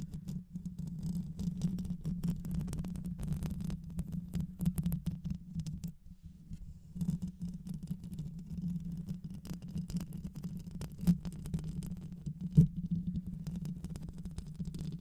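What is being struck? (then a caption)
Metal mesh microphone grille. Long white nails scratch the rounded metal mesh grille of a black microphone with a hollow head, making a dense, muffled scratching rumble that sits almost entirely in the low range. The scratching runs steadily, dips briefly near six seconds, and has a couple of sharper knocks toward the end.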